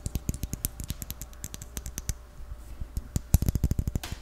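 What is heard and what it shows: Fingertips and nails tap rapidly on a small, white, round, closed jar with a lid, likely plastic. Around 28 short, dry clicks are heard, each with a low hollow thump and a bright tick that dies away at once. A sparser stretch in the middle gives way to a quicker, louder burst, and the clip ends in a brief scratchy rustle.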